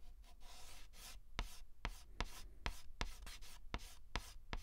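A hand holds a white stick of chalk in its fingertips and draws letters on a large, flat black chalkboard. Bright, hissing scrapes sweep across the board, broken by about ten short, sharp taps as the chalk strikes the surface.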